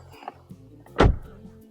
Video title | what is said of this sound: Al volante del BYD ATTO 2 Boost 2025 ¿El SUV EV más completo por 30.000€? 🔋 / SuperMotor.Online | es klingt nicht nach Blech